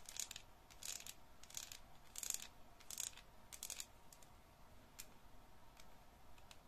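Long patterned nails tap and scratch a solid yellow bar of soap, now slightly damp, held over a basin with some water. Quiet, dry, bright scratching bursts come in an uneven rhythm, with short, crisp taps in between.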